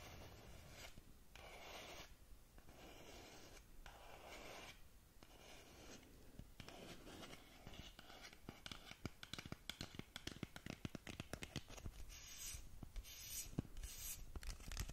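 Long fingernails rub and scratch the face of a long, narrow black cardboard lip gloss box held up close to a microphone. Slow, soft, papery rubbing strokes with brief pauses give way to a rapid flurry of crisp scratches and light clicks. The sound is quiet and dry throughout.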